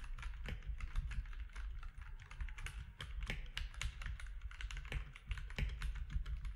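Fingertips of both hands type steadily on a compact mechanical keyboard with grey, white and orange plastic keycaps. A rapid, uneven stream of short, crisp clacks rises over a constant low rumble, each keystroke dying away almost instantly.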